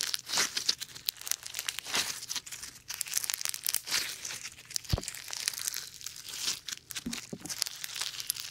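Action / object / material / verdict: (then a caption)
scrape / foam bead slime / slime, foam beads / none. A lump of foam bead slime is squashed and kneaded between both hands, without touching the mic. The beads give dense, bright crackling and crinkling pops in irregular bursts. There is almost no low end and only faint soft thumps.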